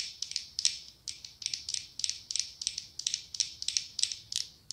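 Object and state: Glass pumpkin candle jar.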